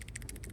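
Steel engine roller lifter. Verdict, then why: Worn. A worn steel roller lifter pulled from a GM V8 engine is shaken by hand, producing a dry, maraca-like rattle with about six quick bursts of bright clicking over a low hum. Its roller is badly pitted and eaten away by metal debris, and the lifter is bad.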